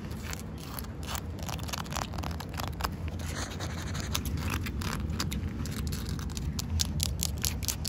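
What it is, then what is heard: Wet concrete paving slab. Long coral acrylic nails scratch along the surface and dark joint lines of solid, rain-wet concrete paving slabs. Quick, bright, gritty scrapes repeat steadily over a constant low rumble, each stroke short and dry with almost no ring.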